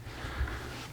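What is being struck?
Nothing is struck.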